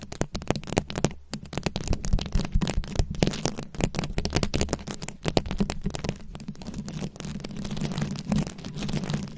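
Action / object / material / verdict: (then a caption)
scrape / microphone head covered in plastic rhinestones and beads / plastic rhinestones / none. Very long acrylic nails scratch and tap a fist-sized round microphone head covered in plastic rhinestones and beads. A dense, continuous stream of short crackling clicks and scrapes rides over a heavy low rumble with a steady low hum, with no ringing between the taps.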